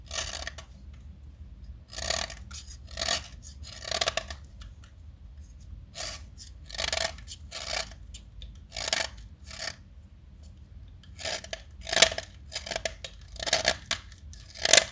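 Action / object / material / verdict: scrape / chalk stick carved with a metal blade / chalk / none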